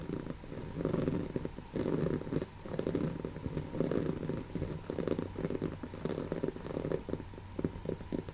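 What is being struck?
Stuffed woven-fabric pillow.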